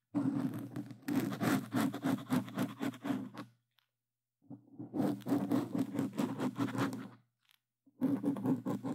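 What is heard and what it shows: Plastic claw tips on gloves quickly scratch a black foam microphone windscreen in three bursts separated by short silences. Each burst is a rapid, dense, scratchy rustle with a strong low, humming body around 250 Hz, fading off quickly after each stroke.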